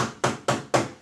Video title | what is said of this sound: 🔴Como IDENTIFICAR EXTINTORES de INCÊNDIO Rápido | viu como é diferente a batida dele ele bate seco tão diferente do extintor de água que ele bate ali com som de sino